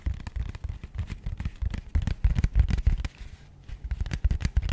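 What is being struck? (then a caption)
Small rigid cardboard box. A small, rigid, matte grey cardboard box held close to the microphone is tapped with long nails on its face and edges. The rapid, irregular taps are dull, low thuds with bright clicky tops that stop almost instantly. There is a short quiet pause before the tapping picks back up.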